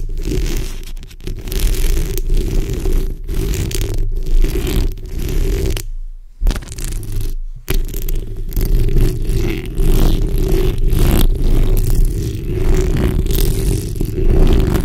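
Long red nails scratch the sides and top of the hollow steel mesh grille on a black condenser microphone. A dense, continuous scraping rasp is heard, heavy with low rumble and a steady tone near 370 Hz. It breaks off in brief silences around six and seven and a half seconds before resuming.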